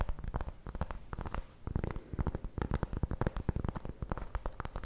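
Long blue nails tap and scratch across the surface of a large, solid, round flat cork coaster or trivet held up in the air. The result is a rapid, uneven patter of soft, dull taps with a low, muffled thud. Each tap dies away almost instantly, and faint scratchy rustles run between them.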